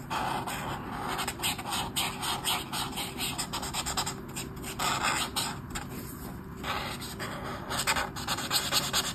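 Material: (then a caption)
Paper. A black brush marker, held close to its tip, scratches short strokes across a flat sheet of white paper in a colouring book. Dry, scratchy rubbing sounds come in quick bursts of high, bright texture over a low steady hum, swelling louder toward the end.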